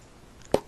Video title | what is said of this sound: 'SAFE' BOOK | sounds kind of hollow whenever you flick it